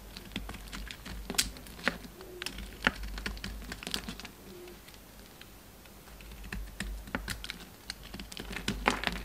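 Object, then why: Soap bar cut with a knife blade. A solid pink bar of soap is held in the hand and cut into slices with a metal utility knife blade, carving and scraping. A rapid, uneven series of crisp, dry clicks and snaps rings bright over a soft scraping hiss, with a few sharper cracks standing out. The cuts fade quickly with almost no ring, and a brief quieter stretch falls in the middle.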